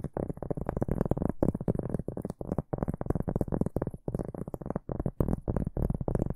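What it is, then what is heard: Round cork board. A large, round, flat, solid cork board held upright is scratched with the fingertips and short nails of both hands. The result is a dense, muffled, low-heavy rasping, with rapid scratching strokes grouped into bursts separated by brief pauses, over a faint high hiss.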